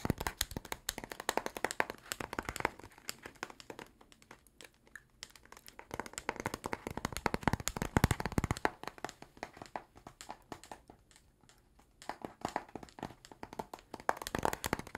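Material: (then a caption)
Cardboard. Fingernails and fingertips tap rapidly on a flat, book-sized blue cardboard box with small stickers, held in both hands and likely hollow. The dense, dry clicks and hollow knocks come in bursts with quieter gaps between them and stop almost instantly, with a low thud under the sharper ticks.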